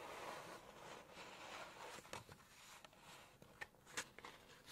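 Long nails tap and scratch the glossy paper page of a Chinese cookbook open at the Poultry section while lifting the page. A soft, steady papery rustle and scrape fills the first half, then several short, bright taps and crinkles stand out in the second half.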